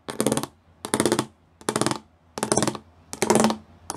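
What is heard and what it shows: Fingertips and nails tap quickly across a flat grey plastic sheet covered in rows of small square pyramid studs. The taps come in five rapid rattling bursts, with a sixth starting right at the end, each one a dense clatter of short, clicky strikes with a hollow low-mid tone and bright edges. The bursts are separated by brief quiet gaps.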